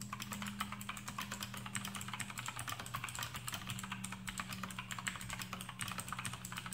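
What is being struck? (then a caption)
Plastic mechanical keyboard with clicky switches and rubber O-rings. Fingertips of both hands type rapidly on a full-size black plastic AUKEY KM-G6 mechanical keyboard with RGB backlight and Outemu blue switches fitted with rubber O-rings, resting on a desk mat. A dense, continuous stream of short, crisp clicks runs throughout. A steady low hum sits underneath.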